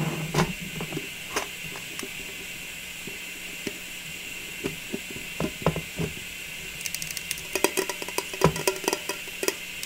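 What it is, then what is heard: Round metal cookie tin. Long nails tap and scratch the lid and rim of a round, striped metal cookie tin with a "joy" lid, which is held in both hands and then set on a table. Sharp, quick taps with short ring are heard over a steady hiss, with a dense cluster of fast scratchy clicks near the end.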